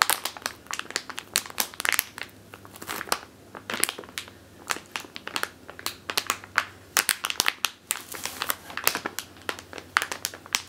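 Long teal nails scratch and crinkle a medium clear plastic bag with a purple label, full of flour or grain, resting on a wooden table. Dense bursts of bright, crackling crinkles and sharp scratches with almost no ring come in quick succession, over a faint low hum.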